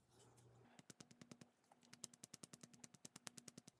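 A small glass nail polish bottle of thinned polish is shaken, and its mixing balls rattle freely inside in a quick run of about two dozen bright, sharp clicks after a soft, low rustle. The balls now move where they did not before, and the polish's consistency is much better.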